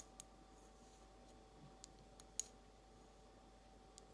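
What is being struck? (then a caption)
Glazed ceramic egg cup. Long almond-shaped nails slowly tap a small, empty, hollow blue glazed ceramic egg cup, producing sparse, sharp, bright clicks spaced well apart. Each tap dies away almost instantly over a quiet, steady background hum.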